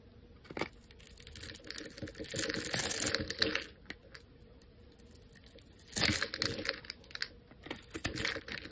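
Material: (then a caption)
Soap. A metal utility-knife blade scrapes and shaves the face of a solid, hand-sized oval bar of pink soap held in the hand, cutting off fine shavings. Dry, bright scraping rasps come in irregular bursts, with a longer sustained scrape in the middle and another sharp stroke later on, over a quiet background.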